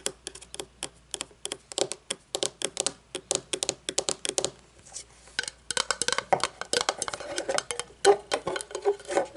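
Long polished nails tap and scratch the top and rim of a small, round, shiny metal lid from a candle jar, hollow and shallow, lying on a wooden table. Rapid, dense, bright metallic taps with very short ring cluster at first, then give way to scraping and a mix of scratches and sharper taps.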